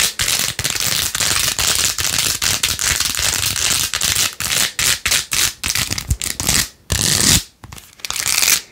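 Long nails scratch quickly over the pink faux-pearl beads and rose-gold plastic rim of a plastic phone case. The result is a dense, bright, raspy scratching in rapid bursts separated by short breaks, with a couple of brief quiet gaps near the end.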